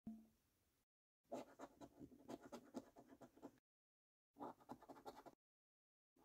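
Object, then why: Coin scraping a latex-coated paper scratch card. The edge of a coin scratches the silver latex panel off a thin, flat £5 Prize Portal paper lottery scratch card lying on a dark wooden table while the other hand holds the card flat. Two runs of quick, dry, rasping scratch strokes are separated by silence, with a brief faint sound at the start and another at the very end.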